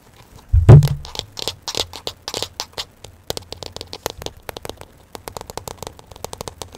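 A hand-sized smartphone in a solid black hard plastic case is held in front of the mic and tapped rapidly on the back of the case with fingertips and nails. A heavy low thump opens the clip, followed by dozens of quick, dry clicking taps that crackle at the top end and die away almost instantly.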